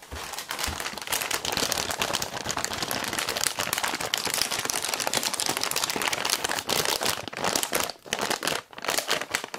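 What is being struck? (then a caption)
Plastic food packet with contents. A printed plastic packet of instant miso soup ingredients, still holding its contents, is held close and crinkled and squeezed between the fingers. The result is a dense, continuous bright crinkling and crackling with almost no low end. It dips briefly near the eighth second before resuming.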